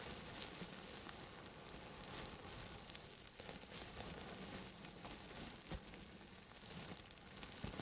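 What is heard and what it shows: Hands in long grey satin gloves rub and scratch a clear plastic bubble wrap sheet wrapped around a microphone, close to the mic. It makes a steady, bright, sizzling crackle with scattered sharp clicks and small pops throughout.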